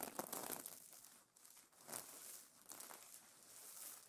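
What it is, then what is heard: Sequin pillow cover. Hands rub and fingernails scratch the plastic sequins on a sequin pillow cover. The result is a quiet, bright, crinkly rustle in uneven bursts, with sharp scratchy swells and almost no low end.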